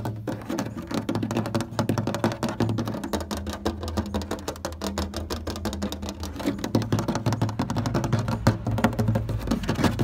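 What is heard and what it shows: Short fingernails and fingertips tap quickly on a large beige molded plastic chair panel, a thin hollow shell with ribs and bolt bosses. The result is a steady ten-second stream of rapid, irregular dry clicks and knocks over a hollow, low boomy resonance, each tap dying away almost instantly. The tapping grows a little louder toward the end.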